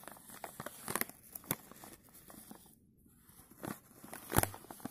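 A filled plastic chip bag, held in gloved hands, is brushed and stroked with a bristle paintbrush. Quiet, scratchy crinkles and soft bristle sweeps crackle across the bag, pausing briefly near the middle before a sharper, louder crinkle toward the end.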